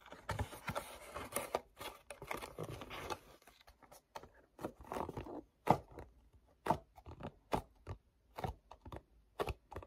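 Fingertips grip, rub and tap the printed front and flap of a small, hollow printed paperboard mochi snack box held in both hands. Dense, dry rubbing and crinkling scratches fill the first half. Sparser, sharp hollow taps with quick decay follow, separated by soft scraping.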